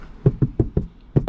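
Knocking on the sound-deadening treated headliner of a Toyota Crown Sport produces six dull, low thuds that die away almost instantly with no ringing. The ceiling is acoustically treated so sound doesn't echo, letting front and rear passengers talk clearly.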